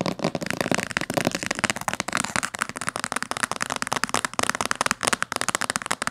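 Long fingernails tap rapidly on the top cover and spine of a thick, dark blue cloth-bound hardcover book. The result is a dense, crackling stream of short, dry, bright clicks with almost no low end or ring.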